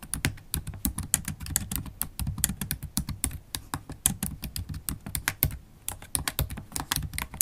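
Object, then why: Laptop keyboard with plastic keys in a metal body, tapped with long nails. Long holographic acrylic nails type steadily on a MacBook Pro keyboard with black plastic keycaps set in an aluminium body, tapping the keys with nail tips and fingertips. A rapid, uneven stream of short, sharp clicks sounds, each bright clack backed by a soft low thud. The taps die away almost instantly.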